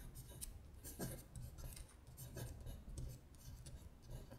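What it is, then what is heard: Paper sheet scratched with fingernails. Long nails scratch across a paper worksheet listing the months in Korean, which shifts slightly on the table. Quiet, dry rasping strokes with bright, papery bursts sit over a steady low rumble.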